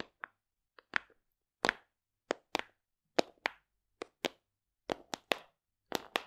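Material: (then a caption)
Plastic. Long decorated nails and fingertips tap the flat lid of a large, hollow black plastic supplement tub. Around fourteen sharp, dry clicks come in quick pairs with brief silences between, each one bright with a slight hollow knock and almost no ring.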